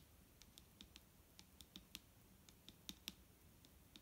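A large, full, clear plastic micellar water bottle with a green cap, lying on a wooden table, is tapped with the long nails of both hands. About 14 quiet, sharp, bright clicks fall at an uneven pace over a low, steady background hiss, each dying away almost instantly.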